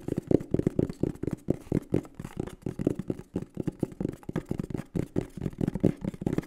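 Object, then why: Cardboard box. A green and black printed cardboard microphone box is held in the hands and tapped and scratched with the fingertips. The result is a quick run of dull, hollow taps with short scratchy strokes between them. The sound stays low and muffled, with almost no brightness and each tap dying away at once.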